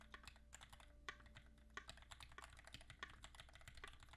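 Both hands type steadily with their fingertips on a compact QXP mechanical keyboard with Greetech Black switches, an aluminum case and ABS keycaps. Quick, sharp, bright key clacks come at an uneven rhythm, with a few louder strikes standing out. A faint, steady low hum runs underneath.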